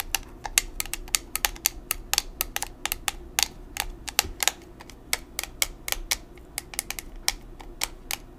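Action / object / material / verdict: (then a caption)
tap / plastic makeup compact / plastic / none. A small square black plastic makeup compact, still in its packaging, is held in both hands and tapped with long nails. A quick, uneven run of sharp, bright clicks dies away almost instantly over a faint low hum.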